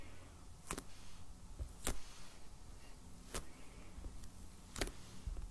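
A medium, solid black hardcover sketchbook in plastic shrink wrap, lying on a table, is tapped slowly with the fingertips and nails of both hands. Soft, low, dull thuds are heard, some with crisp, bright clicks from the nails crackling on the plastic, spaced about a second or more apart over a quiet, low background.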